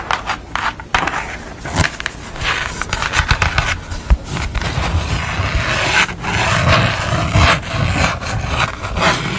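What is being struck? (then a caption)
Thin construction paper sheet. Long nails scratch and tap a thin sheet of purple construction paper with a drawn window on it as it is held and handled. Dry, papery scraping and crinkling rustles are broken by short, crisp taps in an uneven rhythm, with a low rumble underneath.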